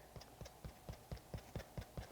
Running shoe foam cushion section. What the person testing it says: doesn't that sound more comfortable? Well, yes, that translates to how it feels as well.